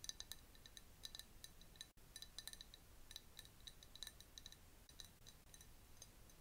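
A clear glass jar, partly filled with liquid with a bamboo straw inside, is held close up and tapped with long nails. A rapid, irregular series of bright, high clinks rings out, each dying away almost instantly over a faint low hum, with a brief silent dropout near the two-second mark.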